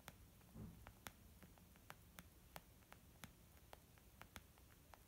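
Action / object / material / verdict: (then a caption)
tap / small leather zip makeup bag / leather / none. Long nails of both hands gently tap a small white textured leather zip makeup bag lying flat, soft and hollow. Quiet, sharp, bright clicks land at an irregular pace over a soft, low muffled background, with one duller, fuller knock near the start. Each tap dies away almost instantly.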